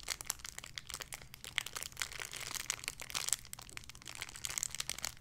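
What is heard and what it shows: A small clear plastic bag holding a soft pink pig squishy toy is crinkled and squeezed with fingertips and long red nails. It makes a steady, quiet stream of bright, crackly crinkles, with sharp little snaps scattered throughout and almost no low end.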